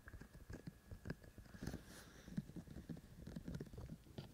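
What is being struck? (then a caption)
Binaural microphone with silicone ear shells. Fingertips of both hands tap and scratch the white silicone ear shells of a black-bodied binaural microphone. The result is a quiet, close, muffled patter of soft, dull taps and rustling scratches, mostly low in pitch. A faint steady tone sits underneath.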